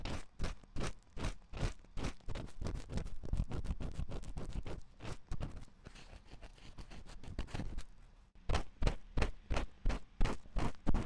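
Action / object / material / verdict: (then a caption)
scrape / silicone ear of a binaural microphone / silicone / none. A wooden ear pick scratches inside the canal of the white silicone ear of a 3Dio binaural microphone, making close, bass-heavy rhythmic scratching strokes. The scratching blurs into a softer, steadier rustle in the middle. Near the end it switches to a thinner wooden pick, bringing louder, more distinct strokes.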